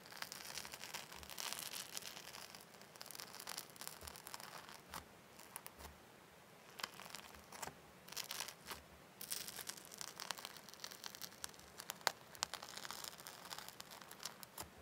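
Fingertips press, poke and squish a soft, airy purple and light-blue slime made with shaving foam in a small clear glass bowl held in one hand. Quiet, bright crackling and fizzy bubble-popping continue throughout, with a brief lull near the middle and one sharper pop toward the end. The bowl itself is not struck.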